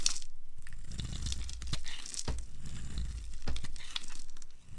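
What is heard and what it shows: A flat blade shaves a hand-sized solid bar of dry blue and white striped soap held in the palm, producing fluffy flakes. Steady dry scraping and crinkly crackling run throughout, with a low rumble underneath and sharp, bright crunchy snaps standing out at intervals.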